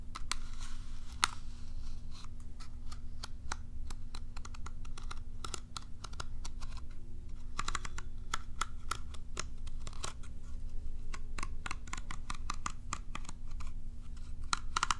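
Long nails scratch along the bristle rows of a curved plastic cat self-groomer brush held in one hand, producing a dense run of quick, bright plastic clicks and ticks. A steady low hum sits underneath throughout.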